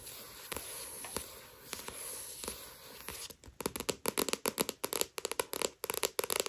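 Long nails scratch across the glossy paper cover of a solid paperback Tokyo Ghoul manga volume lying flat, making a steady bright hiss with a few sharp clicks for about three seconds. The nails then switch to a quick run of crisp, dry taps on the glossy cover that stop short with almost no ring.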